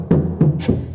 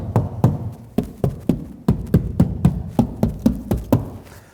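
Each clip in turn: First: Three low, booming knocks on a car door panel; the thin steel sounds hollow and poorly damped. Second: Around fourteen low, dull knocks on a deadened car door that die away at once with no rattle.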